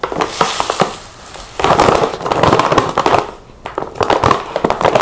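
A large, partly full laminated plastic stand-up pouch of chia seeds is squeezed and crinkled by hand. Dense bursts of crackling crinkles come in uneven waves with brief quieter gaps between them.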